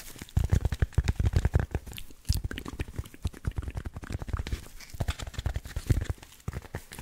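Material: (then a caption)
Foam. A hand-sized rectangular block of dense black packing foam with cut-out slots, solid and spongy, is held in both hands close to the mic and scratched and squeezed with fingertips. It gives a rapid stream of soft, crunchy scratching and muffled thumping, with nearly all its weight in a deep low end around 80 Hz and very little brightness. Each burst dies away almost at once.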